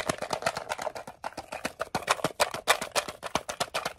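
A small, hollow, closed green rectangular metal Altoids mint tin is gripped in both hands and tapped fast with fingernails on its lid, sides and edge. About 29 sharp, bright clicky taps come in an uneven, rapid patter, each with a tinny tone around 670 Hz and a very short ring.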